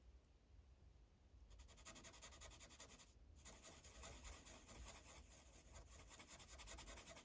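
A felt-tipped blue Sharpie marker is rubbed across a thin paper coloring page resting on a clipboard, making coloring strokes. After a quieter first second and a half, rapid, uneven back-and-forth strokes give a soft, bright scratchy rasp over a low rumble, with a brief pause just past three seconds before the strokes continue steadily.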